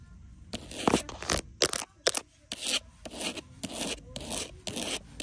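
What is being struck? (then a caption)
Pebbled leather wallet. A long green nail scratches and taps across a small, flat black pebbled-leather wallet lying on a glass counter. Irregular bursts of dry, bright scraping alternate with a few sharp, short taps, separated by brief quiet gaps.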